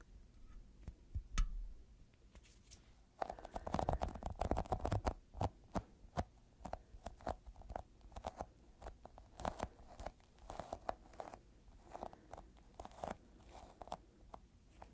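Fingertips tap a small, solid, yellow sticky squishy rubber toy ball held up in the air. The taps are soft, dull and low, each with a brief tacky click and a short peel-off crackle. A dense flurry of quick taps around the fourth and fifth seconds gives way to steadier, spaced-out taps that die away almost instantly.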